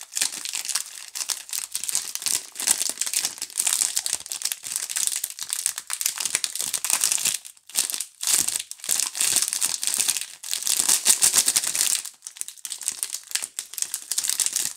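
A pink Duru multipack of solid soap bars in a clear plastic film wrapper is held in the hands and crinkled, rubbed and tapped with fingertips and long nails. It makes a dense, bright, continuous crackle of film with quick, dry taps and almost no low end. Two brief quiet gaps fall near the middle and one near 12 seconds.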